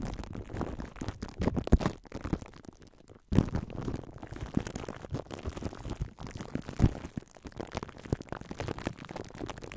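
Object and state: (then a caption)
Plastic cling wrap crinkling on a metal mic grille. Clear plastic cling wrap stretched over a metal mesh microphone grille is squeezed, rubbed and scratched by hands with long nails. It makes a dense, continuous crinkling with heavy low-end thumps and rumble, a few louder crunches, and a brief quiet dip near the middle. There is no speech.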